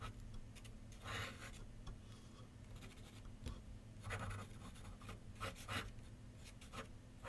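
A pencil tip scratches short sketch lines on a large white paper sheet mounted on a board with solid backing on a wooden easel. Brief, bright, raspy strokes come in bursts over a steady low hum, with quiet pauses between them.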